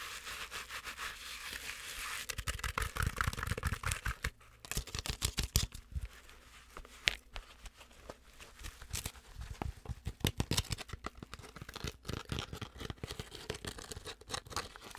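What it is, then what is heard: Plush fabric penguin toy. Long acrylic nails scratch and tap the fuzzy fabric belly and head of a medium soft stuffed penguin toy. A fast, irregular stream of dry, bright scratches and soft tapping is heard, with a fuller low rubbing burst near the start and a brief lull near the middle.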